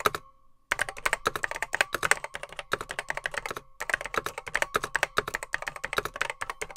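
Fingertips type rapidly on the grey plastic keycaps of a vintage beige plastic Apple M0110B keyboard, whose hollow case holds mechanical switches. A steady run of sharp, clacky keystrokes with bright, hollow plastic clatter is heard, pausing briefly after the first stroke and again near the middle, with a faint steady tone beneath.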